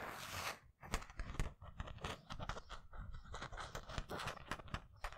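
Fingertips and nails scratch and rub across a black Tune Squad basketball jersey on a hanger, made of thin polyester mesh with raised twill lettering and a center graphic. A soft, hissy rub opens the clip, then a rapid run of short, dry scratching strokes crackles on and off over a low, muffled rumble.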